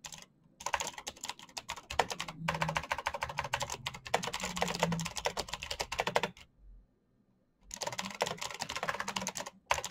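A black plastic mechanical keyboard with backlit keycaps is typed on fast by fingertips, producing dense bursts of sharp, bright clicky key taps with a low thock underneath. The taps come in rapid runs broken by short pauses and one longer silence near the middle.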